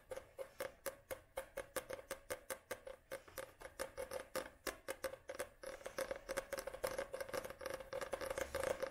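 Long nails tap and scratch the glossy cardboard front cover of a solid paperback book held upright. Quick, evenly spaced crisp clicks, each with a faint hollow ring near 535 Hz, give way after about five seconds to a denser, faster run of taps mixed with scratching.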